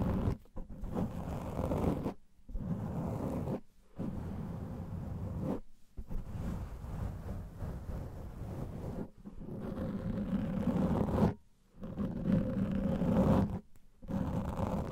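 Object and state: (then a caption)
Foam microphone windscreen being scratched. Fingertips and nails of both hands scratch the sides and top of a large black foam microphone windscreen, making a continuous low, rumbling scrape. The bursts are broken by several short silences as the scratching pauses and restarts.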